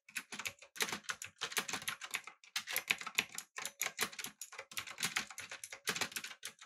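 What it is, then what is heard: Mechanical keyboard being typed on. Fingertips type rapidly on a backlit typewriter-style mechanical keyboard with blue switches, an aluminum body and round plastic keycaps. Dense bursts of sharp, bright clicks and clacks follow each other with very short, dry decay and almost no low end.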